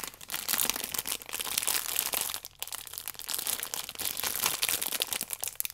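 A stack of yeast sachets wrapped in clear plastic film with a red band is squeezed and rubbed with fingertips and long nails. It gives off dense, bright crinkling with almost no low end, in a steady stream of quick crackles that dips briefly midway.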